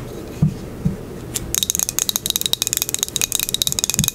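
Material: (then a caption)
Glazed ceramic. A small, solid square ceramic coaster with a green crackle glaze top is held in the hand and tapped and scratched with long acrylic nails. A couple of soft low thumps come first, then a fast run of sharp, bright clicking taps with very short ring, mixed with light scratching.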